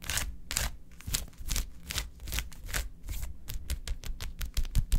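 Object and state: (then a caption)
Gel ice pack tapped with nails. Long acrylic nails tap fast in a typing-like rhythm on a large, flat blue plastic gel ice pack with quilted gel-filled cells. The result is a quick, uneven run of short, dry clicks, each with a bright, crisp edge over a soft, low thud and a slightly scratchy texture. The clicks die away almost instantly, with no ring.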